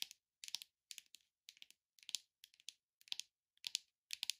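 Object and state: Leatherette-covered box tapped with nails.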